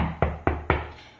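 Three knocks on drywall over a wood stud give short, solid, dull thuds with little ring. This is unlike the hollower sound of the wall between studs.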